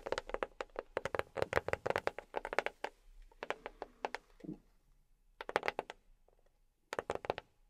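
A box is tapped with silicone rubber pads worn on the fingertips, giving quick, soft, hollow taps centered around 570 Hz. The taps come in fast rolling bursts, pause, then return in short clusters. Each tap is dry with almost no ring.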